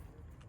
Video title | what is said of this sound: Google Pixel 9A Unboxing (Obsidian) | you can really tell if you tap on the back. You can hear that it is plastic, that is not glass